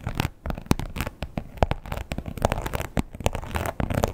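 Long pointed nails tap and scratch the embossed surface of a red croc-textured leather wallet with a strap. A rapid, uneven series of short, dry taps mixes with scratchy rasping. Each tap dies away almost instantly, leaving a dull, low-weighted sound.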